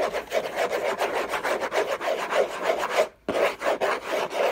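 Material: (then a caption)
Cardboard. Fingertips and short nails scratch and rub the hollow, textured paper surface of a large flat orange Hermès cardboard box lid. The sound is a fast, uneven run of dry rasping strokes centered in the midrange, with a brief silent gap near the end before the scratching resumes.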